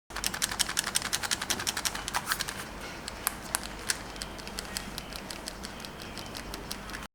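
An Anbernic RG35XX H plastic handheld game console is shaken, producing a rapid, bright rattling of small plastic clicks from its loose shoulder buttons. The rattle is busiest and loudest over the first couple of seconds, then continues as sparser, quieter ticks. The rattle is a minor nitpick in an otherwise well-built console.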